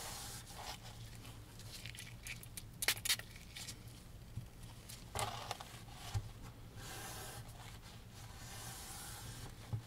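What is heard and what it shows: A gloved hand rubs the canvas and inner frame edge of a framed oil painting with a wooden frame, lying flat on a wooden table, using a microfiber rag. Soft, breathy wiping and brushing strokes carry a bright hiss, with a few sharper scraping bursts over a steady low hum.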